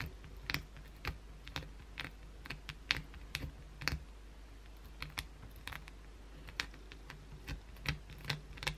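Long pointed blue acrylic nails scratch grooves into a solid white oval bar of soap held in the hand. About twenty short, sharp, bright scratching clicks come in an uneven rhythm, each dying away almost instantly over a steady low hum.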